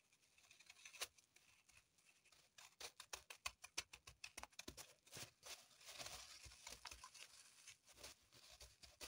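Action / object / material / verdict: scrape / floral foam block in a plastic wrapper / plastic film / none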